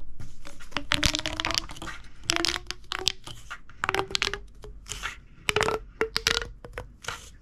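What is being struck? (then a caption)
Corrugated plastic pop tube. A large, hollow, purple corrugated plastic pop tube is gripped in the hand and compressed and stretched, making its ribs crackle and pop. Bursts of dense, bright crackling come in quick clusters, each carrying a short, squeaky rising tone.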